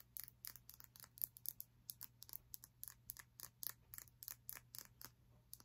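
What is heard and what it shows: A small, solid, clear crystal block or prism, held in the hand, is tapped and scratched with long nails. About 28 quiet, crisp, very short clicks and scrapes follow each other rapidly, bright and high-pitched with no ring. A faint steady low hum runs underneath.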